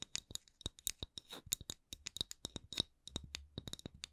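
A wooden candle lid is tapped and scratched with quick, light strokes. It makes a rapid, uneven run of short, dry, bright clicks and brief scratchy scrapes that stop instantly with no ring. A faint low hum sits underneath in the second half.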